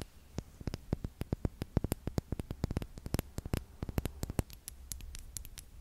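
Long acrylic nails tap and scratch a small, pink-tinted, partly filled glass perfume bottle held close to a microphone. Quick, crisp clicks come in an irregular, fast series over a low, steady hum. Each tap stops dead with no ring, leaving a bright, dry pattering.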